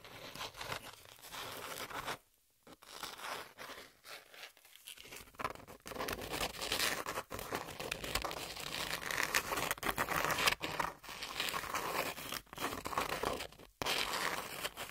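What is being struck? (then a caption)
Corrugated cardboard sheet. Long pink nails scratch across the exposed ribs of a corrugated cardboard sheet held upright, giving a dense, bright, crackly rasp of quick irregular scrapes. Short near-silent pauses break the scratching around two seconds in and again near the end.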